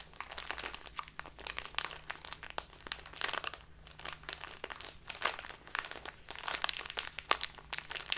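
A small, crinkly plastic bag filled with loose tea is held and crumpled between both hands with long nails. It makes a continuous stream of bright, sharp crinkles and crunches with dense, irregular bursts of varying loudness over a faint, steady low hum.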